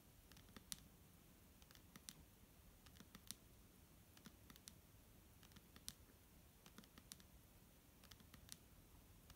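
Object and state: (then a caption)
Plastic bottle tapped with nails. Long nails tap on the front label of a clear, hollow plastic micellar water bottle held in hand and partly full of liquid. The taps are light, dry and irregular, with bright, sharp clicks that die away instantly over a low, steady background hiss.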